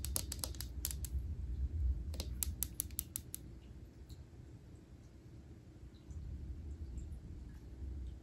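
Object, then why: Glass aquarium tank. Long acrylic nails tap on the front glass pane of a small glass fish tank filled with water, plants and a betta fish. Sharp, bright clicks come in two quick bursts, one near the start and another around two to three seconds, over a steady low hum. The taps stop, leaving only the hum for the rest of the clip.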